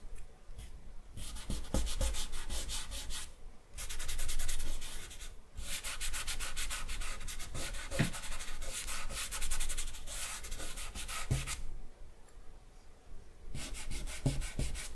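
Fingertips of one open hand rub and blend charcoal across the face area of a flat sheet of drawing paper lying on a wooden table. Quick, dry, bright swishing strokes come in steady bursts, with a few brief pauses before the rubbing picks up again.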